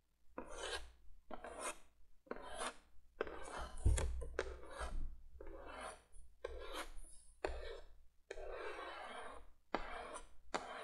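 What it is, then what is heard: Cardboard box. Long nails scratch and rub across the printed surface of a cardboard box lying flat. The result is a series of dry, raspy scraping strokes with brief pauses between them, running from mid tones into bright highs. A steady low hum sits underneath throughout.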